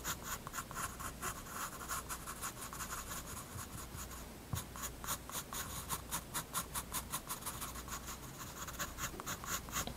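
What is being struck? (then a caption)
Graphite pencil on paper sketchbook page. A graphite pencil rubs and scratches shading strokes onto a page of a spiral-bound paper sketchbook. A steady, dry, papery scratching opens the clip, then turns into a quick run of bright rasping strokes with short, crisp attacks. A faint low hum runs underneath throughout.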